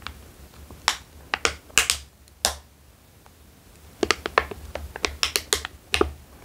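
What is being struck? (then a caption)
Foil-lined plastic snack bag. An empty, opened foil-lined plastic almond snack bag is squeezed and crinkled between fingers. It makes sharp, bright crackles in separate quick bursts, with a quiet pause in the middle before a denser run of crinkling resumes.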